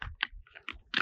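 Clear lake ice is struck four times, each blow giving a short, sharp, brittle crunch with a bright high-pitched crack that dies away almost instantly. The ice is brittle, and the strikes leave visible cracks in its surface.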